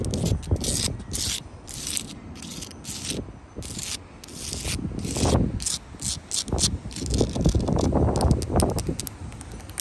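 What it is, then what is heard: Sandstone block wall with mortar. Long blue acrylic nails scratch along a solid wall of rough sandstone blocks and mortar joints, up close. Quick, uneven strokes make gritty rasping scrapes, with a low rumbling rub under bright hissy bursts that swell and fade throughout.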